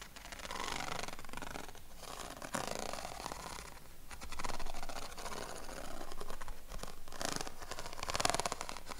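Fingernails scratch the ribs of a yellow corrugated craft paper sheet held against the chest. The scratching is dense and raspy, with a fine, rapid ticking texture, and it swells and fades in several bursts. The stroke ends briefly in a sharp, bright snap.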